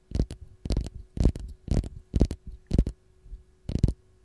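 Long gold nails scratch the peel of a single whole, raw fresh lemon held in the hand. It makes a series of short, rough scratching strokes at a slow, uneven pace. Each stroke is a soft low rustle with a bright hiss on top, over a faint steady hum.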